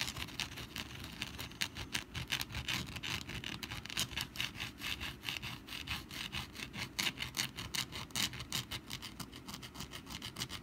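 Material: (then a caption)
Papier-mache. Long black nails scratch the textured surface of a rust-brown papier-mache pumpkin decoration lying on its side on a mat, with a wire spring resting nearby untouched. Rapid, uneven strokes make a dry, bright, papery rasping, with short scratches layered over a low rumble throughout.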